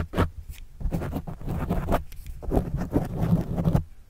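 A pen tip writes and scratches across a black foam windscreen on a microphone. The result is a run of muffled, low, rumbling scratch bursts that rise and fall in quick strokes, with almost no bright high end.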